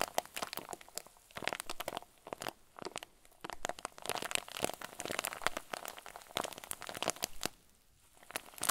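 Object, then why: Plastic zip bag filled with soft fluffy filling. Fingers squeeze and crumple a clear plastic zip bag stuffed with white fluffy filling, up close. Dense bursts of crisp, bright crinkling and crunching crackle across the whole clip, with brief quieter pauses near 3 seconds and again around 8 seconds.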